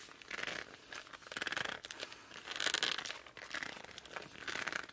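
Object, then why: Laminated cardboard board book. Fingers grip and squeeze the cover and edges of a laminated cardboard board book held tilted. Repeated bursts of bright, squeaky crinkling and rubbing rise and fade with each squeeze, with almost no low end.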